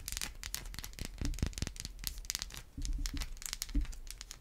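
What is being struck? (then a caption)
Bar of soap scratched and tapped with fingernails. A solid white bar of soap is scratched and tapped with long white acrylic nails. Dry, crinkly scratching with bright, clicky edges is broken up by short, dull low taps, and each sound dies away almost at once.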